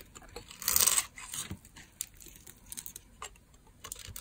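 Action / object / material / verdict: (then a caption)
scrape / bar of soap cut with a small knife / soap / none. A small knife scrapes and cuts small cubes off a hand-sized, solid rectangular dry bar of red soap with a scored grid surface, held in one hand. A bright, dry scraping crunch rises loudest near the start, then gives way to quieter crisp clicks and short scrapes as the cubes break away.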